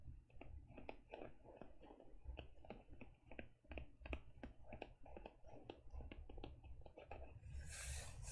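Fingertips and long nails tap the front cover of a closed teal faux leather e-reader case near its lower edge. Quick, irregular, dry clicks run over a low background rumble, and a bright hissing rustle rises near the end.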